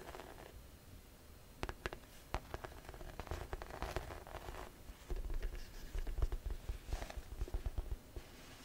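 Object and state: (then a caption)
Grained faux leather tote bag. A grey-beige pebbled faux leather tote bag, hollow, is tapped and scratched on its side with long nails. Quiet, dull low thumps mix with sharp nail clicks and gritty scratching rustles. The taps grow denser and louder in the second half.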